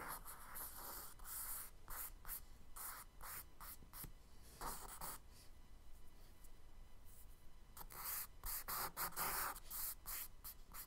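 A charcoal stick makes repeated scratchy strokes on the right side of a kraft paper sketchbook page resting on a wooden desk. Quiet, dry, bright rasping bursts come in an uneven rhythm, with brief pauses between strokes and a faint low hum underneath.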